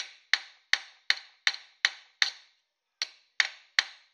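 A small, thin copper dish, held by hand on a steel stake clamped in a bench vise, is struck repeatedly with a metal hammer in planishing taps. Ten sharp, bright metallic taps ring near 1.8 kHz, each fading quickly, with a brief pause after the sixth before the rhythm resumes.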